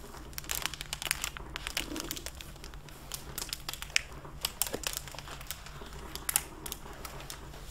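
Hands with long painted nails open a solid, medium hardcover library book in a clear plastic (mylar) dust-jacket cover, bending the cover and turning the pages. The plastic gives off dense, bright crinkling and crackling in quick irregular bursts over a faint steady low hum.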